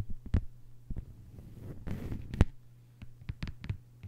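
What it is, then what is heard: Plastic cutting mat tapped with fingernails. A thin, solid lime-green plastic cutting mat lying flat on a table is tapped and scratched with long, white-polished nails. Short, dull taps sound over a low hum, with a brief scratchy rustle in the middle. The sound stays mostly deep and muffled, and each tap dies away almost at once.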